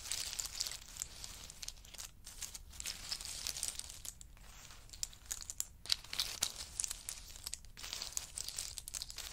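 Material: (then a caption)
Nutshell. Two wooden spoons scoop and stir a pile of pistachio nuts in their hard shells. The shells give a dense, bright, crinkly clatter of many tiny overlapping clicks and crunches with almost no low end, swelling and easing in short waves. Each tick dies away instantly with no ring.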